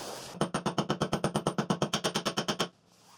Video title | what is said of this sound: Как заменить подшипники в Samsung Digital Inverter | 短く優しく叩いて押し込みます。これで所定の位置になりました。叩く音が大きくなりました。